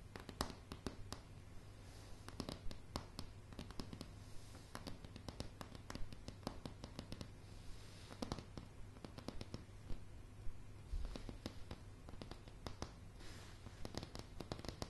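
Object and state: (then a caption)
Wooden floorboards tapped and scratched with nails. Long polished nails tap and scratch across a light, solid wooden plank floor. Quick, dry taps in an irregular rhythm mix with soft scraping strokes, each tap dying away almost at once over a steady low hum.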